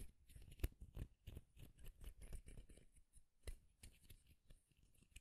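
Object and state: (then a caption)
Wooden comb. Fingernails strum and flick across the long teeth of a light wooden comb. The result is a quiet run of dry, rapid ticks and rattling flicks that die away almost instantly, with a louder snap near the start.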